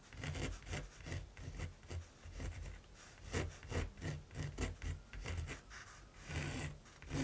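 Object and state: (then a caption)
Primed canvas being drawn on. A mechanical pencil tip scratches rapid strokes across the textured surface of a large, flat primed canvas. The result is a series of dry, raspy rubbing strokes that rise and fall in quick bursts, with a bright, scratchy edge over a dull low thump.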